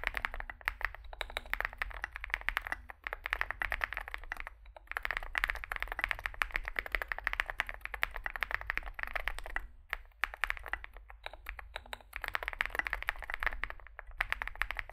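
Two hands type rapidly with their fingertips on a Zoom65 65% mechanical keyboard resting on a desk mat, with a dark metal case (likely aluminum), white and grey SA-profile plastic keycaps and lubed switches. The result is a dense run of short, crisp key taps with a bright, clacky edge, broken by a few brief pauses, over a faint steady low hum.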